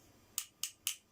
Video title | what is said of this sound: New Sofa wheel fitting | this feels really hard a lot harder than the original ones you can tell when you tap it